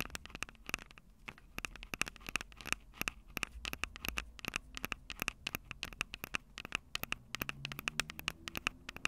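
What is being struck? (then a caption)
Handheld audio recorder with metal-grilled microphones and a plastic body. Long acrylic nails tap on the metal-grilled microphone capsules of a small, hollow Tascam DR-05 handheld recorder with a plastic body. The rapid, irregular stream of sharp, bright clicks carries a faint metallic ping around 2.6 kHz, and each tap dies away almost instantly. Low, soft handling rumble sits between the taps.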